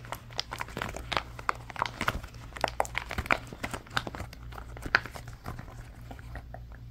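Hands twist, fold and squeeze an orange silicone pop-it toy with hollow bubbles, then press the bubbles with their fingertips. The result is a quick run of short, crinkly squeaks and soft, dull pops with brief squeaky tones, over a steady low hum.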